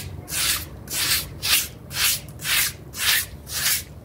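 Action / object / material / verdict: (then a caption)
scrape / synthetic pile rug scrubbed with a bristle brush / synthetic fibre / none. A small, damp, dirty blue synthetic pile mat is scrubbed with a pink bristle brush in quick strokes while the other hand pins it down. Seven evenly spaced, bright, hissing scrub strokes rise and fall over a faint low rumble.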